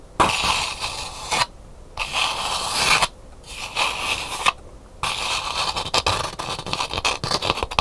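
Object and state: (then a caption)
Calabash gourd bowl scratched and tapped. Long nails scratch around inside a hollow, empty calabash gourd bowl with a painted hibiscus interior that sits upright on a table, making bright, dry rasping strokes in three bursts separated by short pauses. The nails then switch to quick, light taps inside the bowl, giving a rapid patter of crisp clicks with almost no low end and no ring.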